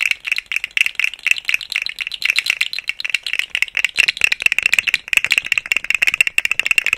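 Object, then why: Segmented plastic slug fidget toy. A rainbow, segmented, hollow plastic articulated slug fidget toy is swung and shaken around the microphone, its segments rattling and clicking. Dense, bright, dry clicks centered near 2.7 kHz pile up in quick uneven bursts with almost no low end or ring.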